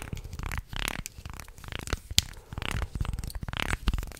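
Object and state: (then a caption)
Wooden segmented shark toy. A wooden segmented shark toy is held close to the microphone while fingers flex it and fingernails scratch along the ridges of its segments. This makes bursts of dry, rasping, crinkly scraping with quick wooden clicks over a soft low rumble, ending in a short, bright snap.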